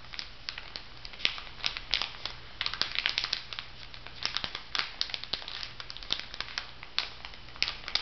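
Fingers rub and crinkle the plastic film of a plastic-wrapped makeup sponge pack on a paper card lying flat. The result is about eight seconds of dense, bright crinkling with many quick, sharp crackles over a faint, steady low hum.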